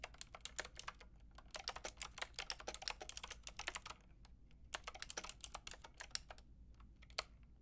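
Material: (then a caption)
Plastic. Long painted nails and fingertips type on a white-and-pink Lofree mechanical keyboard with round plastic typewriter-style keycaps and a hollow plastic case. Bright, clicky keystrokes come in bursts with short pauses, about 39 sharp taps in all. Each tap is crisp and dies away almost at once.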